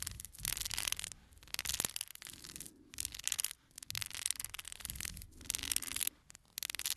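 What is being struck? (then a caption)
Small cardboard playing card box. A small, full cardboard playing card box is held in the hands while fingernails scratch and tap its faces and edges. The result is dry, bright, crackly scratching in uneven bursts with short gaps, with almost no low end and no ring after each touch.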